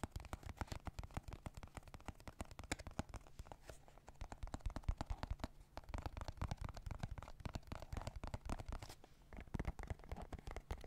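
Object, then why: Hard plastic card deck box. Fingertips and nails tap rapidly on the faces of a small, dark blue, hard plastic card deck case that is hollow and possibly holding cards. The result is a fast, steady stream of quiet, dull clicks and knocks with a hollow, low-heavy body, each hit dying away almost instantly, with a few brief pauses.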